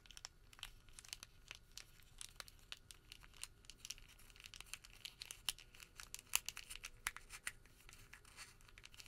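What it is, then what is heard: Thermal paper receipt. A small rolled tube of white thermal paper receipt is twisted and pinched between fingertips. It gives off quiet, dry crinkling and crackling: a steady run of sharp, bright snaps over a soft hiss, with a few louder pops near the middle and no lingering ring.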